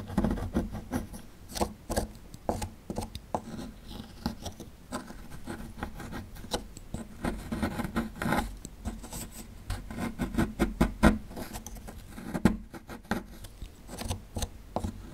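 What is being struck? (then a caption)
Plaster excavation block. A small metal chisel scrapes and chips at a small, solid plaster fossil excavation block. The result is an irregular run of dry scratchy rasps and quick, short clicks, mostly low and dull. The clicks die away almost immediately, with a steady low tone underneath.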